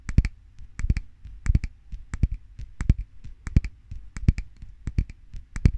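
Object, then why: Filled glass jar. A medium glass jar filled with a white solid (candle or cream) is held up in one hand and tapped and scratched on its side with the fingernails of the other hand. Quick clusters of sharp, bright nail clicks, about two dozen in all, land over a soft low thump, with faint scratching between them. Each tap dies away almost at once.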